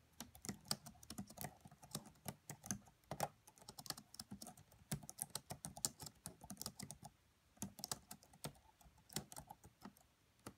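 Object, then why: Laptop keyboard with plastic keys. Fingertips with long nails type fast on the black plastic keys of a red laptop's keyboard. Quick, quiet, bright clicking taps come in a rapid, uneven stream, each tap short and dry with little ring, over a faint low thump.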